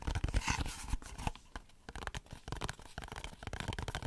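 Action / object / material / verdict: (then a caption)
scrape / small printed cardboard box / cardboard / none. A closed, small rectangular Dove soap box made of printed cardboard, held close to the microphone, is scratched and tapped with fingernails. The result is dry, papery scratching and crinkling mixed with quick, soft taps that have a dull low thump and stop at once. The texture is louder and denser in the first second, then breaks into sparser, uneven bursts.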